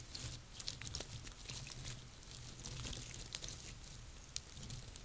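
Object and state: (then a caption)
Dry pine cones. Long painted nails and fingertips scratch and tap the scales of a small pile of dry, woody, hollow-scaled pine cones on a table. Quiet, dry crackling scrapes and bright clicky taps come in quick, uneven bursts, with a sharper tick near the end. A steady low hum runs underneath throughout.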